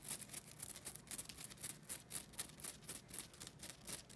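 Long nails scratch across the rough surface of a thin, solid, flat rectangular green nylon scouring pad held up in the air. The result is a quick, uneven series of soft, dry, bright scratching strokes, with very little low end and almost no ring after each stroke.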